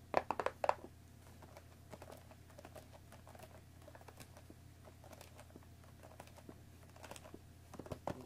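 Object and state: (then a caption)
Cellophane-wrapped cardboard tea box. Long dark nails tap the top and front face of a hollow, cellophane-wrapped cardboard tea box resting on a wooden table. A quick burst of sharp, crisp clicks opens the clip, then gives way to quieter, irregular tapping with light crinkles over a low, steady hum, before a few louder taps return near the end.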